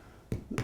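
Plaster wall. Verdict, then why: Loose. Two dull, low thuds sound on a cracked area of plaster wall in an apartment, each short and without ring. The hollow response shows the plaster is loose and not solid behind.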